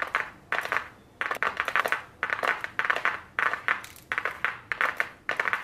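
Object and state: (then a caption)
Cardboard makeup palette box. Very long blue nails tap on a small, flat, white cardboard eyeshadow palette box held in the hands. Quick bursts of dry, papery taps centered around 1 kHz repeat in short clusters separated by brief pauses, with bright clicky edges and almost no low end.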